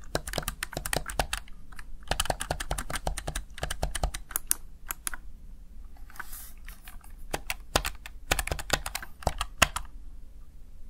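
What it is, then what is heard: Plastic gaming keypad being pressed. Fingertips and nails press the keys of a small backlit plastic Razer Tartarus Chroma gaming keypad. Quick bursts of sharp, bright plastic clicks and taps come in rapid runs. Around the middle there is a brief quieter gap with a soft hiss before the clicking resumes.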